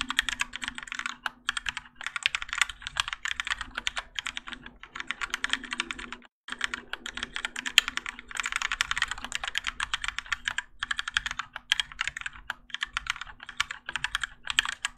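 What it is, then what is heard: Mechanical keyboard with ABS plastic keycaps. Both hands type continuously with their fingertips on a Keychron K4 compact mechanical keyboard with Gateron Yellow switches, grey and orange ABS plastic keycaps, and a plastic and metal case, resting on a desk mat. Rapid, bright, dry clacks run in dense bursts with brief pauses near 2 and 6 seconds, over a faint steady low hum.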